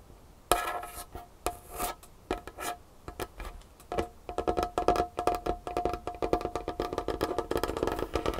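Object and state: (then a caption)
Wooden tabletop tapped with fingernails. Long nail tips tap and scratch across a large, solid, varnished wooden tabletop. Sparse, sharp taps with short, dry knocks and a faint mid-pitched ring come first, then from about four seconds the tapping speeds into a fast, dense patter mixed with light scratching.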